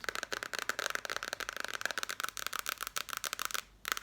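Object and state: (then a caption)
Passport booklet. Fast, continuous tapping on a paper passport booklet produces crisp, dry, bright taps centered around 1.3 kHz with almost no low end. A brief pause near the end is followed by more taps.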